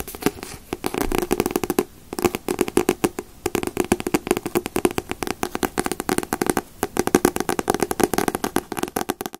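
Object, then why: Paperback manga book, paper. Fingers tap rapidly on paperback manga books, such as One Piece, Naruto and Bleach volumes, producing dense, dry paper taps. The taps come in quick bursts with a few short pauses, each tap a short knock with a mid-range body around 360 Hz.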